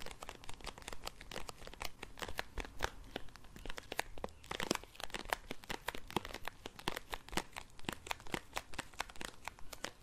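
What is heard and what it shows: Long acrylic nails scratch and crinkle a small clear resealable plastic bag of compressed towel tablets held in both hands. A quick, irregular stream of sharp crinkles and scratchy clicks runs throughout, with bright, crisp edges and a soft, dry rustle between them.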